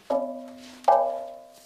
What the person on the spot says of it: Batu ajaib yang jika diketuk akan menghasilkan bunyi ibarat muzik gamelan.